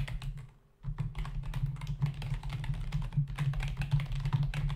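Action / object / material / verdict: tap / plastic membrane computer keyboard / plastic / none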